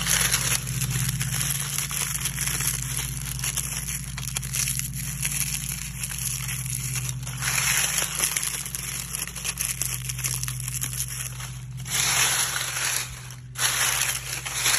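A bare hand presses, grabs and crushes a layer of thin, brittle, dry brown oak leaves lying on grass outdoors, squeezing them with fingers and palm. Dense, bright crunching and crumpling crackles run through the clip in overlapping bursts. Underneath sits a steady low hum.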